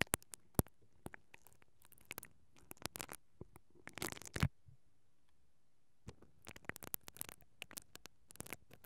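A mascara brush with plastic bristles, held from above, is brushed and scratched across the capsule of a hollow, perforated metal mesh microphone grille. Quiet, irregular, dry scratches and ticks run with a bright edge, building into a dense rasping burst near the middle. After a short silence, the strokes resume in scattered bursts.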